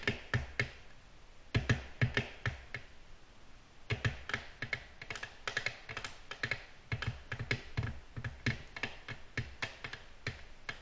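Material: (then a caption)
Glass. Both hands tap quickly with very long natural nails, painted pink-blue, fingertips curved down, on a large, flat, solid, glossy black glass tabletop. Rapid bursts of short, crisp nail clicks come in uneven clusters, each with a soft low thump under a bright tick. They die away almost instantly with no ringing.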